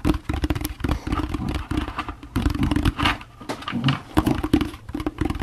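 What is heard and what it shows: Fingertips rapidly tap the bottom of a hollow orange plastic jack-o'-lantern candy bucket. The taps make quick, dull, hollow thumps with a low resonant body tone that dies away almost instantly. The taps come in uneven bursts, some louder than others, throughout the clip.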